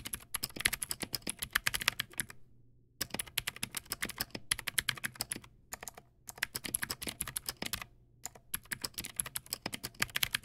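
Fast fingertip typing on a backlit Teamwolf Zhuque+ X08 mechanical keyboard with white plastic keycaps and clicky blue switches. Dense bursts of sharp, bright clicks with very short decay are broken by brief pauses, set over a faint low hum.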